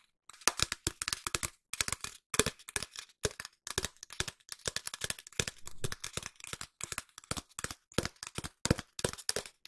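A long, hollow cardboard tube held diagonally is tapped with long nails in quick bursts of rapid taps separated by brief pauses. Each tap is a short, dry, crackly click with a bright top and a hollow mid-range body that dies away almost at once.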